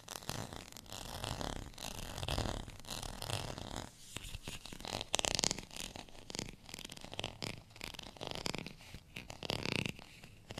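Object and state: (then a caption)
Plastic textured rice paddle. Fingernails scratch the ridged edge and textured face of a small, solid beige plastic rice paddle. The result is a dense run of rapid, dry, bright scratching strokes with a raspy broadband texture. The intensity rises and falls but never fully stops.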